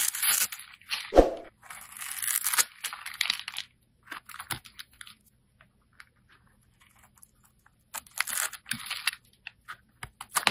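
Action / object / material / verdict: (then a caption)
scrape / soap bar / soap / none. A solid red rectangular bar of soap is held in the hand and scraped with a utility-knife blade, shaving it into small crumbly flakes. Bursts of dry, bright scraping and crunching come in uneven clusters separated by quiet gaps, with one sharper, lower crack early on.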